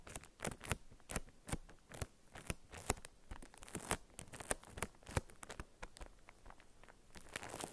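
Long acrylic nails tap and scratch on a paper-wrapped solid soap bar resting on a felt mat. The result is a quick, dense run of dry, crisp clicks with crinkly, papery rustle between them. Each tap is short, with no ring after it.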